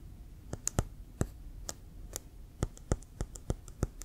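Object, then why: Leather American football. Fingertips and nails tap quickly on a brown leather American football, hollow and inflated and held sideways in both hands. The result is a run of short, dry, irregular clicks, each with a low hollow thump and a bright tick.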